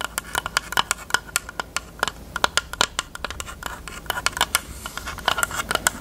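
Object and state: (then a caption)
Hard plastic case. Long nails rapidly tap and scratch a closed, hollow, pink hard plastic rectangular case with a cherry print. About thirty sharp, bright plastic clicks with a tone near 1.4 kHz each die away almost instantly. A faint scratchy rustle runs between them.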